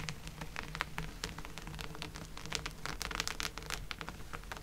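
Fingertips and long nails scratch and tap across a flat woven fabric placemat with raised corded embroidery lying on a table. The result is a dense run of quick, dry scratches and crisp clicks, bright and sharp with almost no ring, over a steady low hum.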